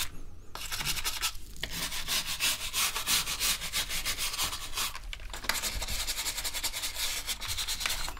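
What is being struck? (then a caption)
Plastic computer keyboard. Gloved fingers rub and press across the keycaps of a full-size black plastic gaming keyboard lying on a table, making a steady, bright rubbing and scratching sound broken by short pauses near one and five seconds. Quick, irregular clicks and scrapes repeat throughout, with a low hum underneath.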